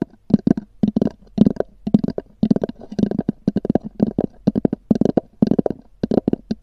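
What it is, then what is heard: EVA hard-shell zippered case. Long nails of both hands tap a small black oval EVA hard-shell zippered case with a textured covering, resting hollow on a fur rug. A quick, uneven run of short, hollow knocks with a low, boxy body and light clicky tops dies away almost instantly after each tap.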